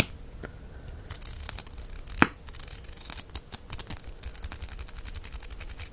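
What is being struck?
Small plastic mascara tube and wand.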